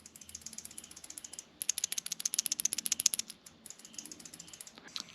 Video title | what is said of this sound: 1940 FLATHEAD OIL PUMP REBUILD AND INSTALL | supposed to hear this sound when you shake it